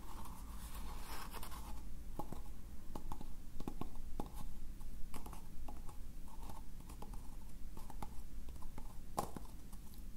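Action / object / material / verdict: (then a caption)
scrape / recycled paper cup / paper / none. A small, hollow, empty cylindrical cup made of rough recycled paper is held in the hands while fingertips and nails scratch and rub its inside and outside surfaces. The result is a quiet, dry scratching and rustling texture, broken by short, sharp crackling ticks over a steady low rumble.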